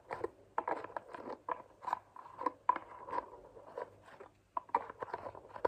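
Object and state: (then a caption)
Plastic lotion bottle with flip cap. Long nails tap a hand-sized white plastic moisturizing lotion bottle and flick and scratch its green plastic flip cap. A rapid, irregular series of quiet, crisp clicks and scratchy taps centers around a hollow mid-range tone near 1 kHz, with bright edges. Each tap stops almost instantly, with brief pauses between the clusters.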